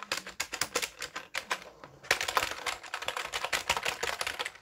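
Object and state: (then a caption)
Plastic computer keyboard. A black, full-size Dell wired keyboard with plastic keys and a hollow plastic case is held up in front of the face while its keys are tapped with the fingertips in a typing motion. The result is a rapid run of bright, clicky plastic taps with very little low end and a quick decay, a brief lull just before the two-second mark, then a denser burst of typing.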